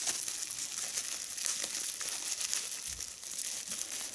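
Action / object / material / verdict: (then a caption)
scrape / plastic bubble wrap / plastic / none. A small, hollow piece of clear, air-filled plastic bubble wrap is held in both hands while its bubbles are pinched and popped with fingertips and long red nails. The result is a steady stream of bright, crisp crinkling with sharp little snaps scattered throughout, and almost nothing in the low end.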